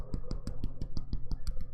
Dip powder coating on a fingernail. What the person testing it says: you can tell when you're cured when you can tap on the nail